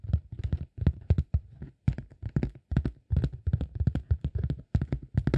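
A flat green honeycomb beeswax sheet, held against the body, is rubbed and scratched with the fingertips. The result is quick bursts of soft, dull, low-heavy scratching taps with short pauses between them. Each touch dies away almost at once.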